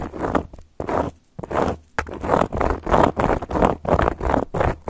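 Long gold metal claw nails scratch and trace across a round, flat, solid cork coaster. Short, rough scraping strokes follow one another in an uneven rhythm, each a dry, papery rasp centered in the midrange with little high-end sparkle. The strokes have almost no ring and stop abruptly between passes.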